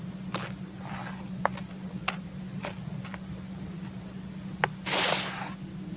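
Fingers and hands dig, rub and scoop through a bucket full of dry, fine, loose red soil powder, making soft, crunchy, grainy rustles. Brief bright crackles are scattered throughout, and a louder, breathy scooping burst comes near the end, all over a steady low hum.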